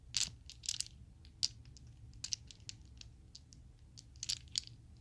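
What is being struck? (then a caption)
Plastic polyhedral dice. A small set of solid purple plastic Chessex polyhedral dice is cupped in a hand with long nails, opened on the palm, then shaken and rolled. This produces scattered, very short, bright clicks and clatters in loose bursts over a faint low hum.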